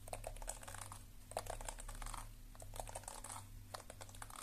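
Long nails tap rapidly on the back of a lilac plastic detangling hairbrush with a hollow plastic shell, held close. The taps are short, dry clicks in quick, uneven bursts with brief pauses, over a steady low hum.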